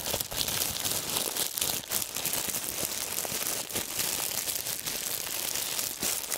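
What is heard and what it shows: A wad of clear, wrinkled plastic film is held in both hands and crumpled by the fingertips. It makes a dense, continuous crinkling with sharp crackles and brief swells, bright and hissy with almost no low end, steady throughout the clip.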